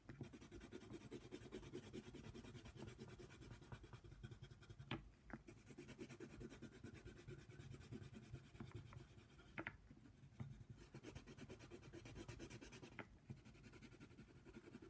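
A yellow colored pencil is rubbed and scratched quickly back and forth across a flat paper coloring book page while coloring a giraffe, making a steady, dense, low scratchy rasp. The scratching briefly pauses around 5, 10 and 13 seconds, with sharp little ticks as the pencil lifts and touches down again.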